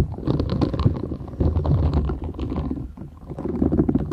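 A flat, thin, solid purple silicone scrubber sponge with short bristles is held folded in both hands while long nails scratch and tap its bristled surface. The result is a dense, continuous stream of muffled, low, rumbling scratches and soft taps with little high-end brightness. It dips slightly near the three-second mark before picking back up.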